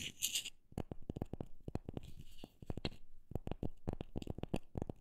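A wooden object is tapped in an irregular run of quick, dry knocks that die away almost at once and sit mostly in the low range. A brief, hissy scratching sound opens the clip before the tapping starts.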